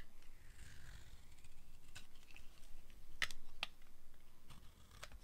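A metal blade cuts and scrapes shavings from the end and face of a solid, hand-sized pink bar of dry soap. Quiet, dry scraping and crumbling sounds are broken by a few short, crisp, bright snaps as the blade cuts through. A low background rumble sits underneath.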